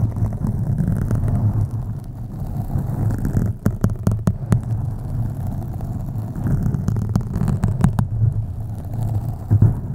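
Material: Foam.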